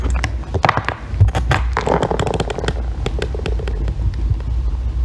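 A solid green bar of soap is shaved with a thin metal loop tool into curled ribbons, producing a rapid series of crisp, crackly scraping strokes over a steady low rumble. Short bright clicks pop out between the strokes, and a smoother midrange shaving sound swells in the middle.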